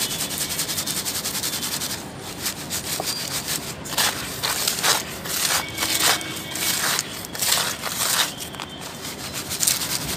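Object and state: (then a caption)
Dry soil sifted in a plastic basket. Dry red soil is shaken with both hands in a yellow perforated plastic sieve basket, with fine powder sifting out while coarser crumbs and grit rattle on the plastic. The result is a steady, bright, dry rustling hiss broken by repeated louder swishing, crackling bursts as the basket is shaken.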